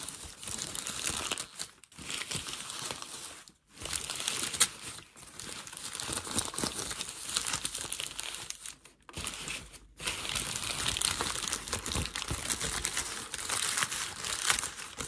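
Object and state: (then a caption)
Crumpled packing paper. Fingertips rub, press and crumple a flattened, creased sheet of thin grey packing paper. It makes a dense, bright crinkling and crackling with little low end, broken by a few brief quiet gaps before the rustling resumes.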